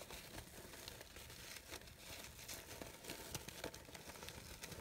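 Long pink nails and fingertips rub and crumple the thin fabric petals of a large cream or ivory artificial rose. The result is a steady, bright crinkling rustle, dotted with small crisp crackles and soft scratchy swishes.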